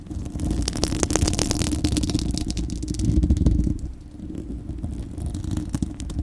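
Long acrylic nails on both hands scratch a bare, hollow, fist-sized spherical steel wire-mesh microphone grille. The result is a dense, heavy low rumble with rapid, irregular scratchy clicks and bright streaks on top. It eases briefly around the four-second mark, then continues.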